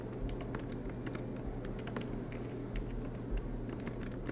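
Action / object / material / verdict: tap / laptop keyboard with plastic keys in an aluminium body / plastic / none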